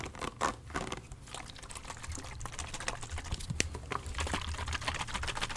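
A plastic body mist spray bottle filled with orange liquid is held sideways and then upright while fingernails tap and scratch its surface. Quick, light clicking taps mix with bright scratchy rustling over a soft low rumble, close and quiet throughout.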